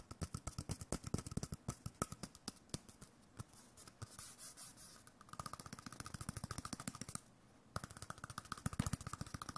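A small hollow white cardboard tube, likely a toilet-paper core, with a face drawn on it in pen, is held up and tapped rapidly with the fingertips. The clip is dense with quick, dry, hollow taps that have a low thump and almost no ring. A brief softer rustling stretch comes a little before the middle, and a short pause falls near the end.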